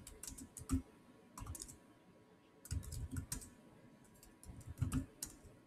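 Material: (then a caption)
Plastic. Fingertips type continuously on the solid black plastic chiclet keys of a silver Samsung laptop. Soft, quick clicks come in short bursts separated by brief pauses. Each keystroke has a dull low thud with a faint bright tick on top.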